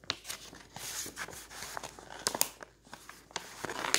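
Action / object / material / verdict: scrape / glossy paper catalog / glossy paper / none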